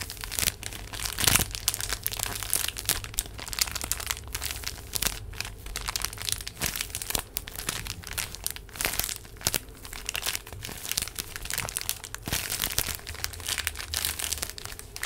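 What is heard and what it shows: A full, small rectangular pack of paper tissues in a printed plastic wrapper is held close to the mic and crinkled and squeezed with fingertips and nails. Dense, bright crackling and crinkling runs continuously for about 15 seconds, with many sharp snaps and a low rumble underneath.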